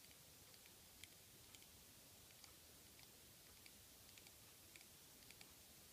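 A small, hollow black plastic eyeshadow compact resting on a table is tapped and clicked with long fingernails. About seven soft, bright clicks stand out over a very quiet, steady hiss.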